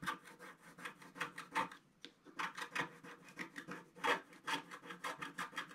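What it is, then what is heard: Scratch-art paper scraped with a wooden stick. A wooden stick scrapes the wave areas of a flat sheet of scratch-art paper in a steady series of short, dry, raspy strokes. The strokes pause briefly partway through, then resume. Each stroke gives a bright, gritty scratch with very little low end.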